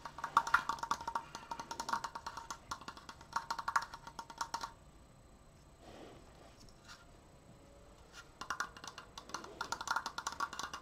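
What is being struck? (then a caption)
Wooden slatted triangular frame. Fingernails tap rapidly on the wooden slats of a large, open, triangular triforce frame that is turned to different angles, making dense bursts of short, dry, woody clicks centered around 1.1 kHz. The tapping runs for about four and a half seconds, gives way to a quiet pause with a soft brushing swish, then picks up again fast for the last few seconds.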